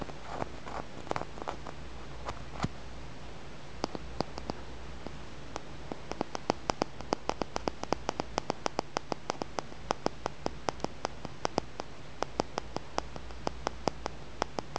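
A small, solid, purple tumbled amethyst held in the fingertips is rapidly tapped and scratched with the nails. Sharp, dry clicks are sparse at first, then come in a quick, steady run, with a faint scratchy rustle and a low, steady hum underneath.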